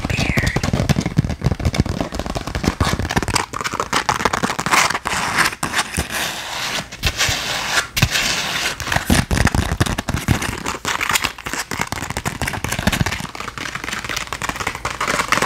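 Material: Glitter fabric.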